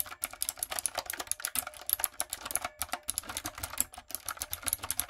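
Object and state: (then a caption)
Plastic mechanical keyboard being typed on. Long coffin nails and fingertips type quickly on a backlit, typewriter-style mechanical keyboard with round retro plastic keycaps and a hollow plastic body. The result is a steady, rapid run of crisp, bright, clacky clicks with very short decay and almost no low end.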